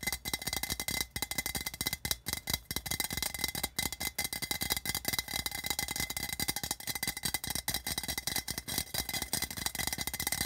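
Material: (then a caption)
Tin-plated steel. Fast fingertip and nail tapping on the body near the rim of an empty, hollow, patterned printed metal tin can. The result is a dense, rapid stream of bright, tinny clicks and taps with a high metallic ring centred near 3.9 kHz, each one dying away almost instantly, and very little low end.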